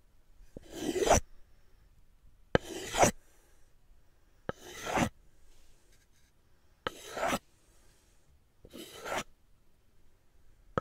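Two solid, medium-size wooden cooking spoons are held in both hands, and the handle or back of one is rubbed and scraped against the bowl of the other. Five separate dry, rasping wood-on-wood scrapes are heard, each lasting about half a second. Each starts with a small click and spreads into a bright, filing-like rasp, with quiet pauses of roughly two seconds between them.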